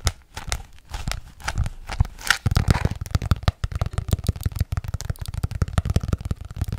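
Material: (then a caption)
Cardboard. Long nails tap fast on the front cover of an ornate hardcover paper journal held upright. The result is dozens of quick, dull, low clicks with a papery crinkle, and a brief bright scratchy rustle partway through.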